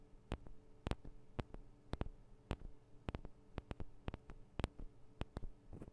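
Long nails tap on the sides of the small metal microphone capsules of a Tascam DR-40 recorder, producing about 19 sharp, dry, bright clicks at an irregular pace. Each tap stops almost instantly, over a quiet, steady low hum.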